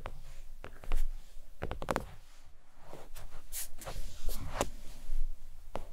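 Long pointed nails tap a thin, flat red stitched faux leather oval desk mat resting on a towel. The soft, dull taps come in a loose, uneven run with short, quick-fading ticks and a low, muffled thud under them.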